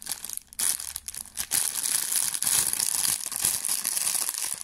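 A thin, clear, empty plastic bag is crumpled and crinkled between fingers close to the microphone. The result is a dense, bright, crackling rustle with almost no low end, briefly pausing near the start before continuing steadily to the end.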